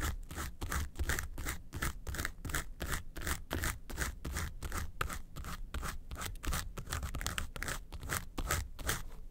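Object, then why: Small textured faux-leather makeup case. Long nails scratch rhythmically across the front face of a small, hollow, yellow textured faux-leather makeup suitcase. Quick, rasping strokes come at roughly two to three per second, with bright scratchy bursts over a low, hollow body resonance. The steady scraping pattern continues throughout the clip.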